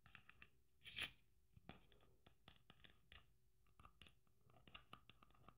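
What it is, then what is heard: Sequin Christmas ornament tapped and scratched. Long nails tap and scratch a red sequin Christmas ornament with gold braid and a metal cap. The result is a quiet series of short, bright clicks and crinkly scratches, with one louder rustling burst near the start.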